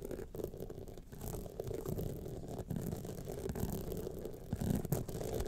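Long nails scratch along the sides and studded face of a gold rhinestone clutch wallet. The result is a steady, dense, low-pitched rasping and rubbing with little bright content, swelling slightly louder toward the end.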